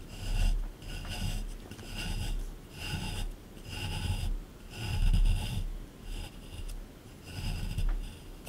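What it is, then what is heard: Plaster excavation block being scraped. A small metal scraper scrapes and digs into the hard surface of a solid plaster dinosaur excavation block. Repeated rasping strokes rise and fall in steady rhythm, with a gritty, bright scratch over a dull low rumble from the block.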